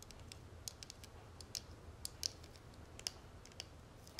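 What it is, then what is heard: Metal cigarette case tapped with fingernails. Long nails tap and scratch the textured, dotted lid of a small, flat, gold-tone metal cigarette case lying on a marble surface. Quick, bright, high-pitched clicks land at an uneven pace over a faint, steady scratchy hiss, and each tap dies away almost instantly.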